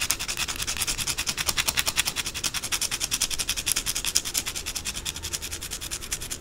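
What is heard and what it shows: Long blue acrylic nails scratch and rub quickly across the flat face of a white, solid, rectangular bar of soap held in the hands, with shavings falling away. The result is a fast, steady run of dry, bright scraping strokes with almost no low end and no ringing between strokes.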